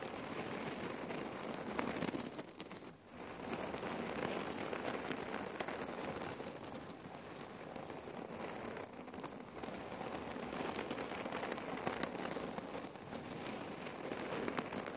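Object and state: Cotton neck pillow filled with cherry pits.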